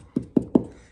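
Three hollow taps on an outside wall corner covered in Phillip Jeffries manila hemp grasscloth wallpaper, each a short, dull knock centered low around 250 Hz. The hollow sound reveals a "fat corner," where the wallcovering has not stayed down and large amounts of air are trapped behind it.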